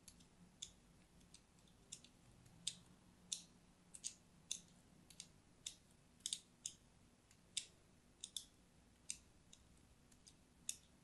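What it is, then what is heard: Soap bar scored with a blade. A thin metal blade scores lines into the surface of an orange and white striped solid soap bar held in the hand. About twenty short, crisp, bright clicks sound at uneven intervals over a quiet background, each dying away almost instantly, with energy centered around 3.7 kHz.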